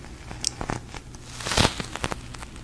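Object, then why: Soft polyurethane foam squishy toy. A large, soft, pink glossy polyurethane foam squishy toy is tapped and pressed with fingertips and long nails. Its sticky surface gives quick crackling peel sounds, with several short bright taps and a louder, longer sticky release near the middle.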